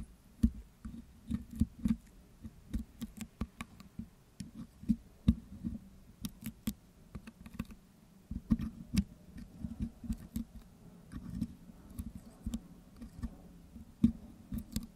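A metal pick hook scratches and picks green putty from the hollow metal wire-mesh grille of a Blue Yeti microphone. Quick, irregular, dry taps, clicks and soft scrapes follow one another throughout, each dying away almost at once. The sound is mostly low and dull, with occasional sharper bright ticks.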